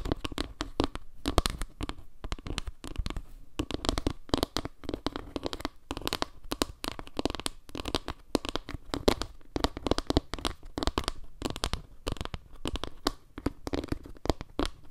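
A flat round wooden log-slice trivet made of small wooden slices is held close to the mic while long nails scratch and tap across the slices. The result is a dense run of short, dry, crackly taps and scrapes with a woody low thump and bright clicky edges.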